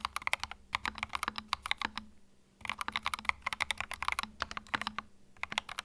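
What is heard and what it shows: Fingertips type continuously on a compact white mechanical keyboard with plastic keycaps, producing rapid, crisp, bright clicks with a steady low hum underneath. The clicks come in dense bursts, with a brief pause after about 2 seconds before the typing picks up again.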